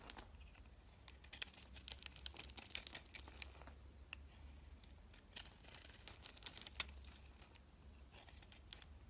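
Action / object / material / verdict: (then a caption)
scrape / soap bar shaved with a blade / soap / none. A box-cutter blade shaves white flakes off the flat face of a solid oval white soap bar with a green outer coating, held in the hand. Quiet, bright, crisp scraping comes in clustered bursts of sharp little clicks and crackles, over a faint low hum.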